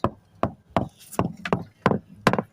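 Seven short, dry knocks on a cored fiberglass sailboat deck, each a sharp thud with no ring that dies away almost at once. The deck sounds solid at this spot, in contrast with the hollow areas elsewhere.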